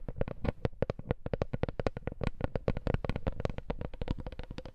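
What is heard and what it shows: A wooden coaster is tapped in a fast, steady run of short, dry knocks. Each tap is a low, woody thud with almost no ring, over a faint steady hum.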